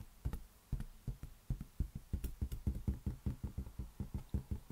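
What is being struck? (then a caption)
Inflated latex balloon. Fingertips tap rapidly on a large, hollow, inflated green latex balloon held on the palm of the other hand. The result is a quick, irregular run of soft, deep, dull thumps with almost no ring, all low boom and no brightness.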